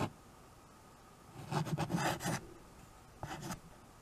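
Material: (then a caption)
Slate. White chalk held in the fingers writes on a small handheld chalkboard with a wooden frame, its strokes scratching across the board surface. A cluster of quick, gritty scratches with a low, hollow body and bright rasping edges comes in the middle of the clip. A shorter pair of strokes follows near the end, over a quiet background.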